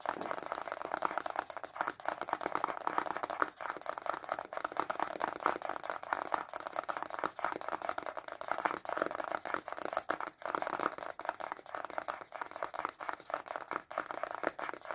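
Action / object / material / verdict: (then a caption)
tap / small cardboard box / cardboard / none. A small white printed cardboard box holding a stylus pen is held upright in both hands and tapped fast with short fingernails and fingertips. The result is a steady, dense stream of quick, dry, papery taps centred in the midrange, with almost no low end and no ring between strikes.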